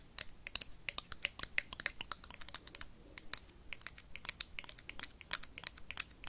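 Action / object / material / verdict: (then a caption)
tap / plastic toy lightsaber tapped and scratched with metal paperclips / plastic / none. A blue plastic toy lightsaber is tapped and scratched quickly with paperclips. The result is a fast, irregular run of short, sharp, bright clicks and scrapes, with no low rumble or lingering ring.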